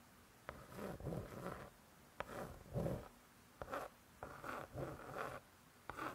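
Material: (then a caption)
Laminated cardboard. A long acrylic nail scratches slowly over the laminated cardboard cover of a closed spiral-bound hardcover cookbook. The strokes come in repeated bursts, each starting with a small tick and turning into a soft, dry rasp with a low, muffled body. Quiet pauses fall between the bursts.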